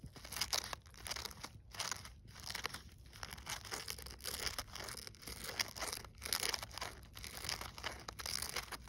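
Fingertips and long nails rub, scratch and crinkle the burlap-fabric petals and stiff glitter-coated leaves of a gold glittered artificial poinsettia flower ornament resting on snow. The result is a steady run of bright, dry crunching and crinkling textures with high scratchy detail, broken by a few brief pauses, and little low-end weight.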